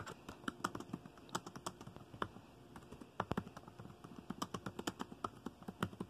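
Fingertips of both hands type fast on a dark chiclet-style plastic laptop keyboard, with the trackpad below. About thirty quick, dry key taps click out in an uneven rhythm, each with a short, crisp attack that dies away almost at once over a faint background hiss.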